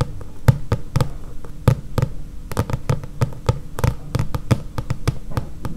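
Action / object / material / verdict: tap / paperback book with card cover / card / none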